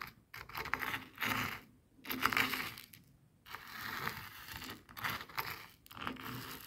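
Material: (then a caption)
Salt crystals. A small jade face roller with a metal frame crushes and rolls over coarse bath salt crystals on a white plastic cutting board. The result is fast, gritty crunching and scraping, with bright crackling bursts broken by short pauses.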